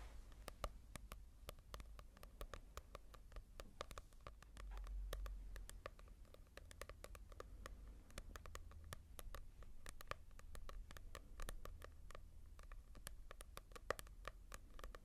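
A small paperback manga volume with a paper cover is held upright in one hand and tapped with long nails. Many quick, dry, papery clicks with no ring come in an irregular pattern over a quiet, low background rumble.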